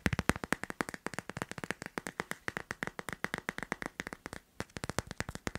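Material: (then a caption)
Hard plastic. Fingernails tap quickly on the back and edges of a hand-sized, teal, leaf-print hard plastic phone case fitted on a smartphone. About 45 short, dry clicks come in a rapid, uneven stream, each with a bright tick around 2 kHz. The taps stop briefly near the 4.5-second mark before resuming.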